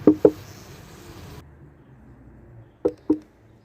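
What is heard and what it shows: Four short, dull knocks land on a wooden beehive holding a honeybee colony, two at the start and two near the end, to compare its response with a queenright hive. Between the knocks only a faint, low background sound is heard, with no strong roar from the bees. The hive is queenless.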